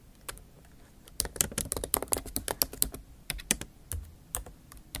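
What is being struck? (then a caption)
Laptop keyboard with plastic keys in an aluminium body. Both hands type rapidly with the tips of long acrylic nails on a MacBook Pro backlit keyboard, its black plastic keys set in a silver aluminum laptop body. After a quiet first second, a fast, uneven run of sharp, bright clicks follows, each with a light low thump beneath it. Every tap dies away almost instantly.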